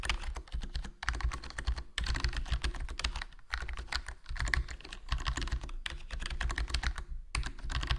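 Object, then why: Plastic membrane keyboard. Fingertips type continuously on a HyperX Alloy Core RGB plastic membrane gaming keyboard with a foam mod, its black plastic body, black plastic keycaps and hollow case giving a steady stream of soft, muffled key presses. The clacks are short and quick-dying, with most of their weight low and only a little bright click on top, broken by a few brief pauses.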